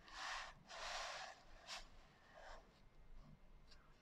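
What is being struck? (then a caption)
Hardcover journal with a coarse glitter cover. Long acrylic nails scratch across the coarse glitter cover of a small closed hardcover journal lying flat on a white table. Two long, bright, rasping strokes are followed by shorter, fainter scrapes. The sound is a dry, gritty hiss that stops cleanly between strokes.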